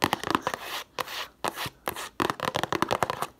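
Long nails scratch and tap the printed sides of a cube-shaped cardboard tissue box held in both hands. Quick, dry, bright taps come in bursts, broken up by short stretches of soft scratching.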